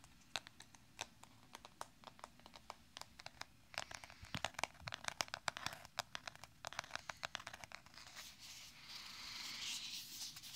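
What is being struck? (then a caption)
Small bamboo makeup case. A small, hollow, closed rectangular ZAO bamboo makeup palette case, held in both hands beside a binaural microphone, is tapped and scratched with fingertips and nails along its ridged bamboo surface. Quick, dry, bright clicks and taps come at an uneven pace, crowding together in the middle. Near the end, they give way to a steadier, hissing scratch.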